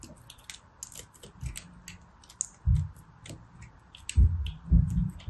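A small leftover chunk of pressed soap, held between the fingers, is shaved with a small knife blade. Quick, crisp scraping clicks and crackles come in an uneven stream, broken by a few louder, dull low thumps.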